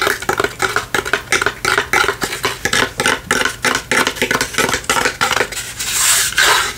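A small hollow wooden lantern with palm-tree cutouts and a light inside is held in the hand and tapped and scratched with long fingernails. Rapid, irregular dry clicks and taps, about three per second, have a hollow knock and a bright scratchy edge that dies away almost at once. Near the end they give way to a steadier, louder scrape.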